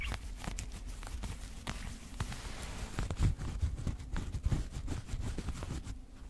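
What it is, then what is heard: Embroidered fabric coat being scratched. Fingertips and nails of both hands scratch the embroidered front panels near the chest of a worn black traditional Tajik/Afghan chapan coat with yellow and white thread embroidery. The result is a steady, dense, low rustling scratch broken by short, dry scrapes and soft taps that swell slightly louder midway before easing off.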